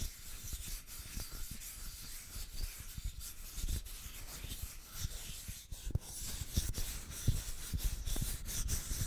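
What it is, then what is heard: Wooden plaque. Fingertips and nails rub and scratch the surface of a small, flat, solid brown wooden plaque with white painted lettering, held in both hands. The result is a steady, dry, bright scratchy hiss over soft low bumps and brief taps as the fingers drag and shift across the wood.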